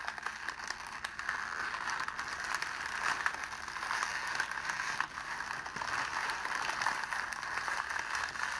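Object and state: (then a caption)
Clear cellophane sheet. A crumpled sheet of clear cellophane wrapped around a rose is held in both hands and squeezed and scrunched by the fingers. It makes a steady, dense crinkling and crackling, centred in the midrange with bright, sharp snaps on top and no low rumble. The sound is continuous, with a brief dip in loudness about halfway through.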